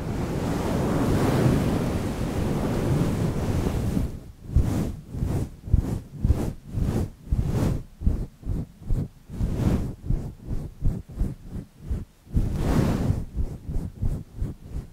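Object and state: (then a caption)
Synthetic fur microphone windscreen. Fingertips of both hands cup a fluffy grey faux-fur windscreen on a microphone and scratch and rub the fur. The first few seconds are a steady, muffled, low-heavy rumble of rubbing, which then breaks into a rapid rhythm of short scratching strokes, with one more sustained rub near the end.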